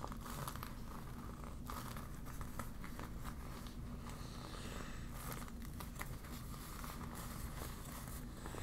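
A deflated yellow vinyl beach ball sheet is crumpled and crinkled in both hands with long nails. The result is a steady, quiet stream of soft plastic crinkling over a low rumble, with small crackles scattered throughout.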